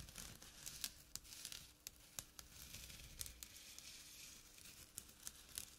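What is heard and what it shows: Short nails scratch the coarse jute weave of a small, flat burlap drawstring pouch. The result is a quiet, dry, bright rasping with crinkly texture and scattered sharp ticks over a faint low hum.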